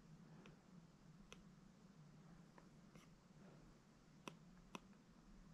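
A plastic Apple Pencil held in the fingers taps and draws lines and squiggles on the glass screen of a large, solid iPad lying on carpet, including tapping through a brush menu. Faint, short, dry clicks come over a quiet, steady low hum, with two sharper taps near the end.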